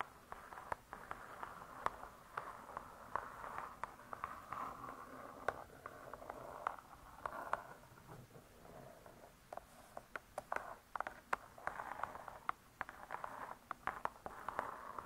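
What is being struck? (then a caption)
Laminated board hardcover book. Long stiletto nails tap with both hands on a closed spiral-bound hardcover cookbook with laminated board covers. Dozens of quick, sharp, dry clicks land in irregular bursts over a soft, continuous midrange scratching and rustling. Each tap dies away almost instantly.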